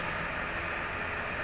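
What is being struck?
Nothing is struck.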